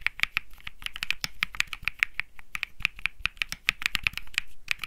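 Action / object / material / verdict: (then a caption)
tap / mechanical keyboard with plastic keycaps / plastic / none. Fingertips type continuously on a Think 6.5 65% mechanical keyboard with Bsun Lollipop switches and plastic keycaps; its metal-looking case rests on felt. The result is a rapid, uneven stream of short, crisp clacks with almost no ring, centered around 2.3 kHz with a bright top and a soft low thud beneath each press.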